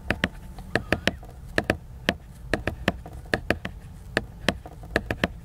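Fingertips tap the glossy cover of a large, solid, flat laminated cardboard hardcover book, making 19 short, dry knocks in irregular bursts. Each tap has a low thud and a bright click that dies away almost instantly, over a quiet background.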